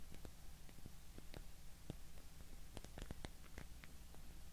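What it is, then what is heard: Wooden cube. A small solid block of light, unfinished wood is held in both hands and tapped and scratched with long painted fingernails. Soft, dry clicks and brief scratches sound quietly over a low, steady hum, with each tap dying away almost at once.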